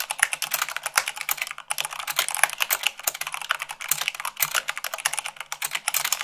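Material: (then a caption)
Plastic. Fingertips with long nails type fast, at about 98 words per minute, on a mechanical keyboard with white plastic keycaps on a black base. A dense, steady stream of crisp, bright plastic clacks follows, each with a very short decay and almost no low end.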